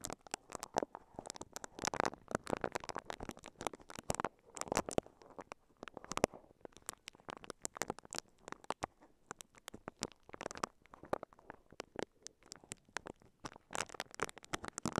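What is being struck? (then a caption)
Plastic-wrapped microphone brushed with silicone bristles. A microphone covered in clear, crinkly plastic wrap is brushed and scratched with the bristles of a pink silicone scalp massager held in both hands. The result is a steady stream of quiet, dense crinkling and fast scratchy clicks with sharp, bright edges, rising and falling in little bursts throughout.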